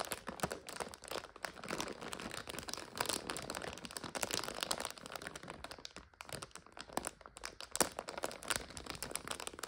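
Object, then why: Plastic bag of dry egg noodles. Fingers grip and squeeze a full plastic bag of dry egg noodles while long nails tap on it, making it crinkle. A dense, continuous run of crisp crinkles, crackles and quick taps fills the clip; the sound is mostly mid and bright, with almost no low end and no ring after each crackle.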